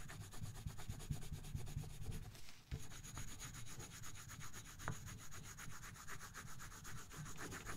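A colored pencil scratches and rubs across a thin paper coloring book page resting on a box in rapid shading strokes. The strokes come as a fast, steady, dry scratching with a soft low rubbing body and a faint bright hiss, with one brief pause midway.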